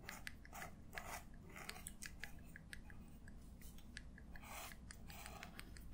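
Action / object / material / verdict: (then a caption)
scrape / metal-nib quill pen on a paper sketchbook page / paper / none. A black feather quill pen with a metal nib is drawn across an open paper sketchbook lying flat on a table, held in the fingertips while the other hand, with long dark nails, rests on the page. Short, bright, dry scratches come in quick bursts as it writes ink strokes, over a steady low hum.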